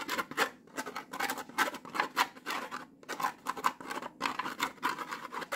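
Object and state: Plastic noodle pot with foil lid.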